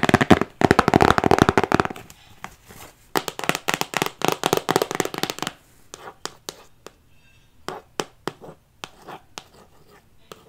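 Long acrylic nails tap and scratch a hand-sized printed cardboard box for an Airome diffuser. A dense burst of rapid scratching gives way to quick runs of crisp, dry taps, then sparser single clicks with almost no ring.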